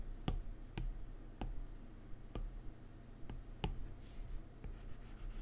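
A plastic stylus tip works on a solid iPad glass touchscreen, drawing strokes and tapping menu items on the glass. Seven short, light clicks stand out over a quiet, low background hum, with brief soft scratchy rubbing near the end.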